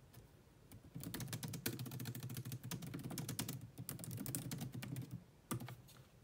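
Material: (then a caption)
Plastic. Long nails type fast on a grey laptop keyboard with low-profile plastic keys, sometimes with both hands. Sparse, soft taps at the start give way to a dense run of quick, bright plastic clicks over a low hum, then a pause and one last short burst of clicks near the end.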